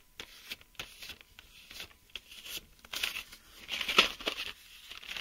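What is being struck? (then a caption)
Plastic blister pack holding mechanical pencils. Fingertips and short nails tap and scratch across a hand-sized clear plastic blister pack lying on a table. The pack has a printed cardboard backing and holds 10 colored plastic mechanical pencils, with the blister hollow around them. The sound is a series of bright, crinkly plastic clicks and scrapes that die away almost instantly and have almost no low end, growing denser and louder around the three- and four-second marks.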